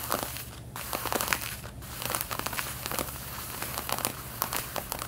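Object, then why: Denim jeans. Long red-painted nails scratch the back yoke of light blue denim jeans while they are being worn. Dense, dry scratching and crinkling with bright, crackly bursts continues in quick irregular strokes, over a faint low hum.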